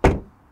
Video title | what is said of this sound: More POWER, More Tech! 2023 BMW M2 Review | Suono di chiusura della porta dall'esterno.